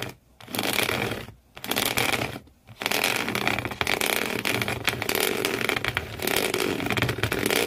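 Fingernails scratch fast at the corrugated cardboard floor inside an empty shoe box, one hand at a time. A dry, bright rasping comes in short bursts separated by brief silences, then runs on as a steady, dense scratching.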